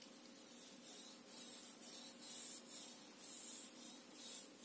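A thin wooden stick is scraped along the teeth of a solid, medium-sized, reddish-brown plastic hair comb held upright in one hand. It gives a rapid, ratcheting scratch. The sound is bright and high, with a steady low hum underneath, and swells and fades in repeated passes.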